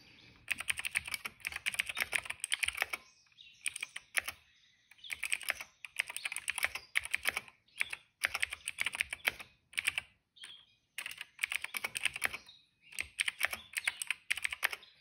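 A plastic retro mechanical keyboard is typed on with the fingertips of both hands. Bursts of rapid, bright clicking and clacking run in phrases separated by short pauses. The keystrokes are sharp and quick-decaying, with almost no low end.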